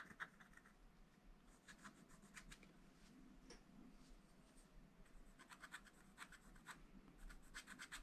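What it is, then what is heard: Wax-coated scratch-art paper being scratched. A wooden stylus scratches strawberry details into a black, wax-coated scratch-art page in a small spiral-bound pad, the thin flat paper resting on a table. Quiet, dry, bright scratching strokes come in quick clusters with brief pauses over a faint low background rumble.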